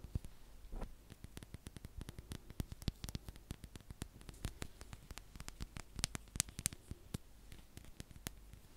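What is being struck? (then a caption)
Small plastic tub. A small round pink plastic tub with a printed label is held in one hand and tapped and scratched with long fingernails. The result is a quiet, rapid, irregular series of sharp, dry clicks and taps that stop instantly with no ring, over a faint low hiss, with bright scratchy edges on some strokes.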